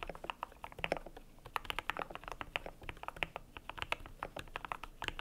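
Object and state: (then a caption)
Plastic mechanical keyboard with PBT keycaps. Fingertips type on a cream compact mechanical keyboard with PBT plastic keycaps. The keys give a fast, steady run of short, dry, bright clicks and clacks with a firm midrange thock. Each keystroke dies away almost instantly.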